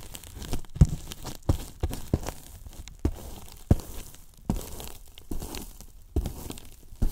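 The tips of two wooden brush handles tap and scratch the top surface of a large, white, hollow polyethylene foam box. The result is a series of dull, low, hollow thumps with very short decay, spread between soft crinkly scratching and rustling.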